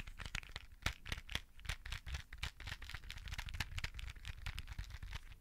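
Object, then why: Clear plastic box of beads. A clear plastic case of colorful beads is held close above the microphone in both hands and tapped and scratched with nails and fingertips. Quick, dry clicks and scratchy crinkles come in a steady, busy stream, with bright crisp edges over a soft low thump from the handled case. Each tap dies away almost at once.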